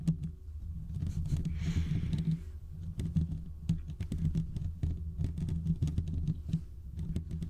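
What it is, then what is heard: Metal mesh microphone grille scratched. Fingertips and short nails from both hands scratch the hollow domed steel mesh grille of a large desktop condenser microphone. The result is a dense run of rapid, crackly scratches and taps over a deep, boomy low-end rumble, with a brief soft hiss partway through.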